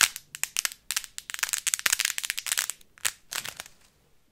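A thick bundle of uncooked dry spaghetti is gripped in both fists and bent, twisted and crushed by hand until the strands crack. Many sharp, bright snaps and crackles come in dense clusters with short gaps, each dying away almost instantly, with almost no low-end weight.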